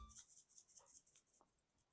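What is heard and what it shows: A salt shaker with salt inside is shaken, and the grains rattle. About seven quick, bright, hissing bursts follow one after another, concentrated in the high frequencies.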